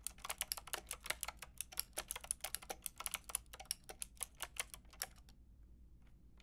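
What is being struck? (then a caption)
Plastic mechanical keyboard. Fingertips and long red nails tap rapidly on a Lofree mechanical keyboard with a white plastic case and round pink and grey plastic keycaps. Crisp, bright plastic clicks come in a quick, uneven run with very short decay, then stop for about a second of near silence before one last faint tap.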